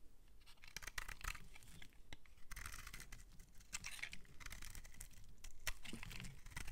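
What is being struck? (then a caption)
Bar of soap. A metal utility-knife blade scrapes and shaves thin flakes off the surface of a palm-sized, solid mint-green bar of soap held in the hand. It makes a run of dry, crisp, bright scraping and tearing strokes with short sharp clicks, over a steady low rumble.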